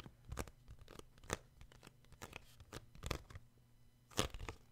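Fingertips tap the front and back glossy card covers of a paperback book, giving a series of short, dry taps with a low thump and a brief bright edge that die away almost at once. The taps come unevenly, with a few louder ones standing out over a quiet, steady low hum.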